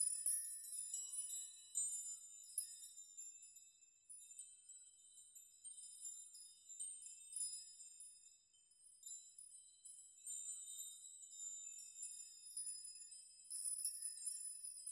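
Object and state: Metal nail chime.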